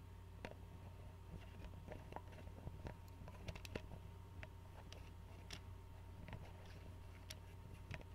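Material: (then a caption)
Glass. An Arizona glass bottle of tea is held sideways in one hand while the other hand's fingernails tap and scratch at the neck and the white screw cap. Quiet, sharp clicks and scratches are heard scattered over a steady low hum.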